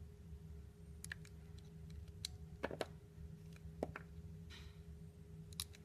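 A palm-sized piece of solid, translucent orange glycerin soap shaped like a peeled tangerine is held in the hand while a utility knife blade shaves and scrapes thin slices off its surface. Short, crisp clicks and brief bright scraping sounds come at irregular intervals over a quiet, steady low hum. Each cut snaps off quickly with almost no ring.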